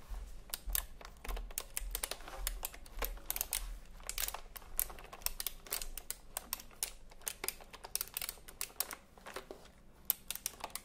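Fingertips of both hands tap the round plastic keycaps of a retro typewriter-style computer keyboard held upright. The result is an irregular stream of short, dry, bright clicks over a low background hum.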